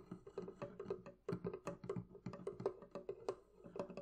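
Continuous tapping on the wooden surface of a barrel chest produces a quick, uneven run of dry, knocking taps. Each tap is short and hollow, centered around a mid pitch near 400 Hz, and dies away almost instantly.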